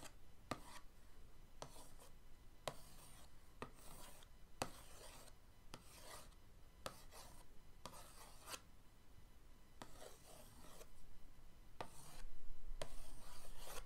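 The end of an orange paintbrush is drawn repeatedly across the lid of a flat printed cardboard paint-set box, making short, dry scratching rubs with a bright, papery hiss. The strokes come in a steady, fairly quick rhythm over a faint low background and grow louder and denser near the end.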